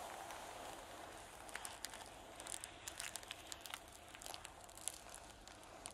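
Fingertips and long painted nails scratch and brush across a large, thin sheet of magenta tissue paper lying flat on a table. Soft, bright crinkles and quick crackly ticks rise over a steady, quiet papery hiss.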